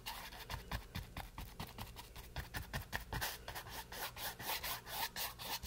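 A wooden-handled flat brush rubs and scrapes across a small, solid, green painted canvas board resting on a table, stroke after stroke. Each pass makes a soft, dry scratchy rasp with a bright, hissy top and a faint low thump, and the strokes follow one another closely in a steady rhythm.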